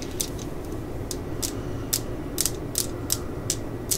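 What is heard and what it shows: A solid black and yellow plastic screwdriver handle, held in the hands, is tapped and scratched with long acrylic nails. The result is a series of sharp, bright clicks with crisp high-frequency ticks that fade quickly, set over a steady low background hum.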